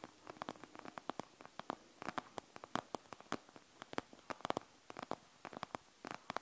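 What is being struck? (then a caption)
Plastic gel bead eye mask. Long nails scratch across the gel-bead surface of a panda gel bead eye mask with a plastic shell. A quick, uneven run of dozens of sharp, bright clicks and crackles sounds over a faint hiss, each one dying away almost instantly.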